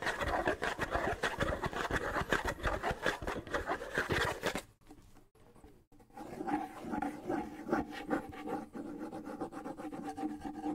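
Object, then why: Small wooden bongo with skin head. Fingertips scratch the skin head and wooden shell of a small hollow wooden bongo held in one hand, making a dense, rapid rasping. The scratching stops for about a second near the middle, then resumes more softly with a faint hollow resonance from the drum.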